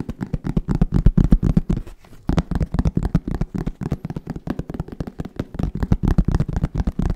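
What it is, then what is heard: Hollow hard-shell case. A black, fabric-covered, hollow hard-shell zip case is tapped rapidly with the fingertips of both hands. It gives dozens of quick, dull, hollow thuds, deep and muffled with almost no high end, that stop almost at once. The tapping runs at an uneven, fast pace with a brief pause near the two-second mark.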